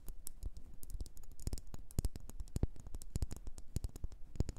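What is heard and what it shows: A red, faceted geometric pillar candle of solid wax, about hand height, is held upright between both hands and tapped and scratched on its sides with long orange-painted fingernails. The result is a quick, irregular stream of dry, dull clicks and light scratches with almost no ring, sitting mostly in the low end with faint bright ticks.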